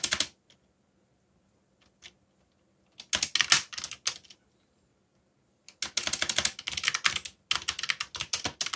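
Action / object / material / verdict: tap / plastic mechanical keyboard / plastic / none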